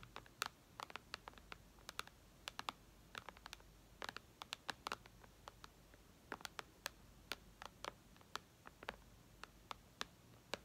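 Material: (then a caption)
Glass. Long red nails tap the glass screen of an iPad lying flat, making dozens of quiet, sharp clicks in irregular, typing-like rhythms. Each tap is a bright, dry tick that dies away instantly, with almost no low end, over a faint steady background hiss.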